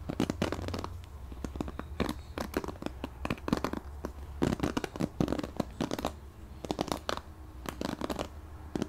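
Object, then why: Plastic paddle hairbrush with ball-tipped plastic bristles. A purple plastic paddle hairbrush with ball-tipped plastic bristles on a cushion pad is held in the hands while fingertips scratch and strum across the bristles. Dozens of quick, dry, crackly strokes come in uneven bursts, each flicking bright and dying away almost at once, over a steady low hum.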